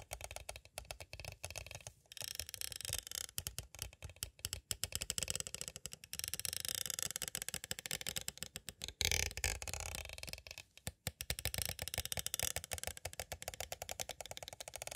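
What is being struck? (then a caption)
Clear plastic cassette tape case. A small, hollow, clear plastic cassette tape case is tapped on its edges with two green plastic stick tools. Rapid, dense runs of bright, clicky plastic taps follow one another with only brief pauses. Each tap dies away almost at once with little low-end body.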